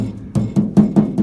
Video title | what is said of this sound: 1950 Chevy 3100 Power Windows Part - 2 | I think I'm getting a little a little rattle from this but that'll be okay